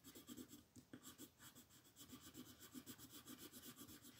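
A pink colored pencil rubs and scratches across a flat white paper mandala sheet while coloring in the petals. The quiet, steady back-and-forth strokes make a soft, dry scratching with a bright papery hiss and a faint low-mid tone around 250 Hz.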